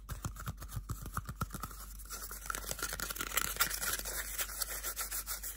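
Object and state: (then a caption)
Cardboard toilet paper tube. A small, hollow, empty cardboard toilet paper tube is rubbed and scratched with bare fingertips and nails. Quick, dry scratching strokes come in a steady rhythm, with soft low thumps early on and brighter, hissy scraping building toward the end.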